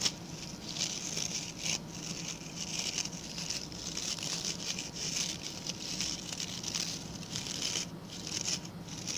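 Fingertips and nails scratch the stiff brown bristles of a small, round, ring-shaped coir (coconut fiber) brush held by its pink handle. The result is a steady, dry, rasping scratch with a bright, high hiss, made of quick strokes that barely ring out. It continues at an even level throughout.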